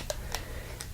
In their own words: It looks like it's made of metal, but it's actually very, very plasticky.